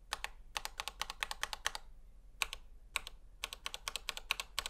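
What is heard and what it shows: A gloved fingertip repeatedly taps and presses single keys on a full-size black plastic Razer Huntsman V2 Analog mechanical gaming keyboard, with a hollow housing and switches, lying flat on a white table. About thirty sharp, bright clicks come in quick bursts, with a short pause near the middle. Each click stops almost instantly, leaving very little low end.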